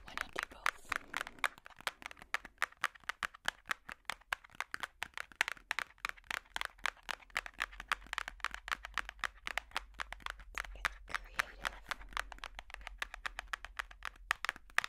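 Metal finger picks tap and scratch across the cardboard cover of a large hardcover puzzle book. They make a rapid, steady stream of sharp, dry clicks centered around 2 kHz with bright edges, interspersed with faint scratchy rustle. Each click dies away almost instantly over a quiet, low background.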